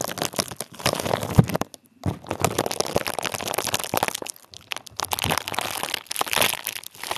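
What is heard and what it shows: Clear plastic bubble wrap laid over a microphone head is squeezed and crinkled with the fingertips of one hand. Dense, close crackling and crunching with sharp snaps runs through the clip, broken by a brief near-silent pause just before the two-second mark.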